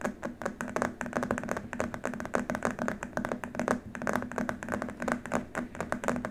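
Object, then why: Rigid plastic keyboard wrist rest. Fingertips of both hands tap rapidly on a long, flat, white rigid plastic keyboard wrist rest. The result is a steady stream of short, dry, hollow taps with a low tone around 240 Hz, each cutting off almost instantly with no ring.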